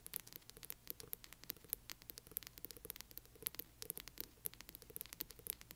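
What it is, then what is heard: Hardcover book, nails scratching the spine. Long nails on both hands rapidly scratch the spine of a large hardcover book. The result is a quiet, dense patter of dry, crisp ticks and scrapes, bright and high with no ring, over a faint low steady hiss.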